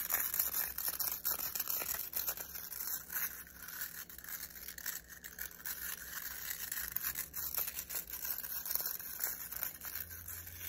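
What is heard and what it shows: Fingernails rapidly scratch and flick the nylon bristles of a black plastic round hairbrush held in both hands. The result is a dense, continuous, bright scratchy crackle with very little low end. It stays fairly steady throughout, dipping slightly in the middle.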